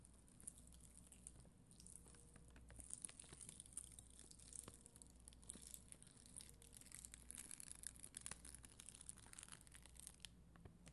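A spoolie brush scrapes across an acrylic rhinestone sticker sheet, a flat sheet of red and clear acrylic gems. It makes a quiet, steady stream of dense, bright crackling and scratchy ticks over a low background hum, with no ringing after each stroke.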